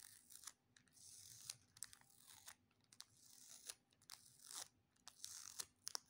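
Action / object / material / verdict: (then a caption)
scrape / clear plastic adhesive tape / plastic film / none. A small piece of clear plastic sticky tape, a thin transparent film held between fingertips over a wooden table, has its sticky sides pressed together and pulled apart with fingertips and short nails. Bright, crackling peels rise and fall in short bursts, punctuated by sharp ticking snaps with almost no low end. The sound is quiet and close, with each snap stopping dead.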